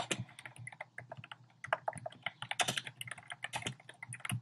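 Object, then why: Plastic mechanical keyboard. Fingertips type fast on a compact plastic mechanical keyboard with a black plastic case and round pastel plastic keycaps. The result is a rapid, uneven stream of short, bright clacks that stop almost instantly, over a faint steady low hum.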